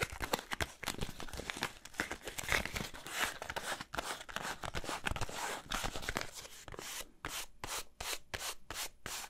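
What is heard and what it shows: A small yellow and white cardboard soap box is turned in the hands while fingernails scratch and tap its surfaces. Dense scratchy rubbing and crinkly friction fill most of the clip, followed by a run of distinct, bright tapping clicks at the end.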